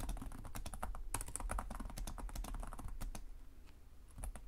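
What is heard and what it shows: Fingertips of both hands tap rapidly across the low-profile plastic chiclet keys of a black laptop with a hollow body, in continuous typing. Quick, uneven clicks with bright tops and a dull low thump from the body run back to back at a steady low level. The taps thin out and grow softer near the end before a last few keystrokes.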